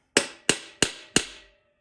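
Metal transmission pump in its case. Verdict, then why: Seated. A metal transmission pump on a TH350 rebuild, set in its case, is tapped four separate times. Each tap gives a short, flat, solid knock with bright high content and almost no ring, and the matching sound confirms the pump is fully seated on the case surface.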